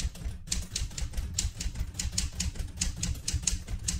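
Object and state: Manual metal typewriter.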